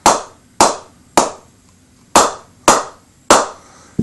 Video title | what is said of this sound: Shark Cricket Bat Review Great White & Hammerhead [HD] | Sounds alright. Nice ping off the mallet.